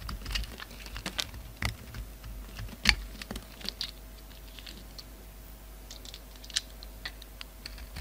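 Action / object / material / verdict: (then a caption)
scrape / bar of soap cut with a utility knife / soap / none. A utility knife blade chops and scrapes brittle black chunks off a solid black bar of soap in a red rim, held in the hand. Irregular, sharp, dry crunches and clicks sound bright and short, with one louder snap near the middle. A faint low hum sits underneath throughout.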